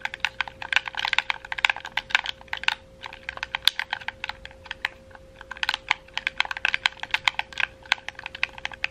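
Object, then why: Plastic game controller buttons. A red, hollow, wired plastic gamepad is held in both hands while fingertips and nails rapidly click its buttons and shoulder triggers. Dozens of sharp, dry, bright plastic clicks come in fast irregular bursts with brief lulls near 3 and 5 seconds. A faint steady tone hums underneath, with almost no low end.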